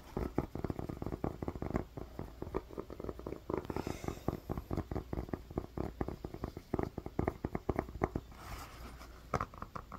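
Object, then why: Rubber sneaker outsole. Long fingernails scratch and tap the black rubber outsole of a sneaker with square lugs and orange inserts. The result is a rapid, uneven patter of short, dry, muted clicks and scrapes, mostly low-mid in tone, with brief softer brushing hisses around the fourth and eighth-to-ninth seconds.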